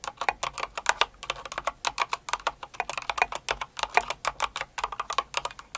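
Both hands type steadily on a full-size light blue and pink Cinnamoroll mechanical keyboard with plastic keycaps, using long acrylic nails and fingertips. The result is a rapid, uneven stream of dozens of short, dry plastic clacks with bright clicky edges, a hollow mid-range body and almost no low end. Each keystroke stops almost instantly.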